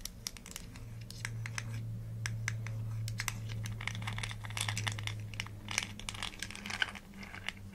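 Long nails scratch and tap on the gold-colored screw cap and paper label of a small, hollow green plastic supplement bottle. Rapid, sharp clicks mix with dry, crinkly scratching over a steady low hum, and the taps cluster more densely in the second half.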